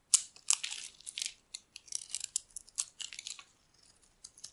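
A metal utility blade scrapes shavings off the surface of a solid, dry bar of soap held in the hand, now mostly white where it has been carved. Short, crisp, bright scraping and crackling bursts come in quick, irregular strokes with brief pauses between them, with no low end and almost no ring after each cut.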